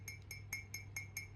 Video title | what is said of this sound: How to Authenticate Ancient Pre-Columbian Ceramic Art from Mesoamerica. | it's a higher pitch, right? And that's cuz this was fired in a u higher temperature kil